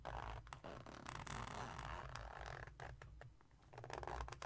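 A small silver glitter-coated cosmetic pouch with a red zipper is held against a table while its zipper is slid and its surface scratched with fingertips and nails. The result is a steady, fairly quiet texture of soft scratching and rasping, with a low rumble underneath and bursts of bright scraping.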